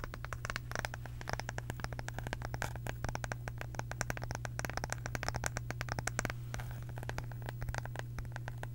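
Long acrylic nails rapidly tap and scratch a small, round, flat wooden or bamboo case with visible grain. The result is a dense stream of sharp, dry clicks and scrapes, with a steady low hum underneath.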